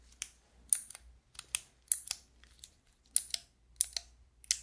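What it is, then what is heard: Plastic keycap fidget toy. Long nails press the white keycaps on a handheld fidget toy with a clear plastic frame, producing 13 sharp, bright plastic clicks with faint creaks. The clicks are quiet and crisp, almost entirely high-pitched with almost no low end, and each one dies away immediately.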